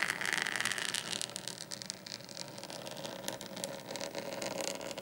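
Both hands scratch a large, flat, dark desk mat lying on a table with short painted fingernails. The result is a steady, hissy, bright scraping made of rapid, irregular strokes, with little low end and a few sharper scratches standing out toward the end.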